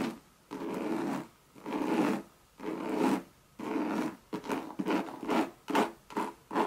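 Long red nails scratch the surface and leather edge of a Louis Vuitton monogram coated-canvas bucket bag with leather trim. Four long, rough scratching strokes with pauses between them are followed by a run of quicker, shorter scrapes. The raspy, papery texture sits mainly in the low-mid range, with only faint bright hiss.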